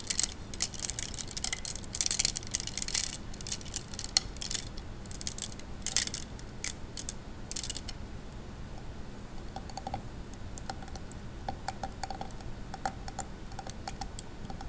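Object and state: Glass gems in water.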